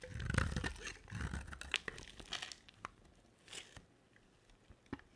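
A utility knife blade scrapes and carves curls and flakes off a hand-sized, solid white dry soap bar with a thin dark coating, held in one hand. Dense, low crunching and tearing scrapes fill the first couple of seconds. They thin out into sparser, sharp crackling scrapes with brief bright edges that fade toward the end.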